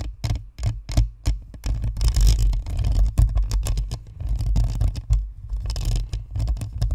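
Long nails scratch and tap across the top of a white spherical Blue Snowball microphone, on its hollow plastic shell and perforated metal grille. The sound is a rapid, uneven run of close, boomy thumps and rustling scrapes, heavy in the low end with brief bright crackles. Each tap dies away almost at once.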